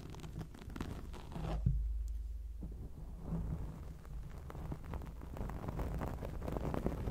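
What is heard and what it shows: Long acrylic nails scratch a black foam microphone windscreen, producing a dense, muffled rustling and scraping that is heavy in the low end with almost no high content. The irregular strokes swell and fade throughout, with a deeper thump-like rub standing out near the second mark.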